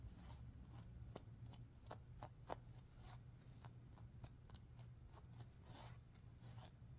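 Long nails scratch and fingers rapidly rub the green sequins of a stuffed sequin pillow. Quick, bright, scratchy swishes and ticks repeat over a steady low hum.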